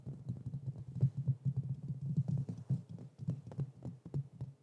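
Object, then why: Metal mesh microphone grille. Fingertips and nails tap and scratch quickly on the hollow metal mesh grille of a black Blue Yeti microphone. The result is a rapid, uneven run of dull, boomy low thumps with short scratchy textures. The sound is concentrated in the low bass and almost nothing bright sits above it.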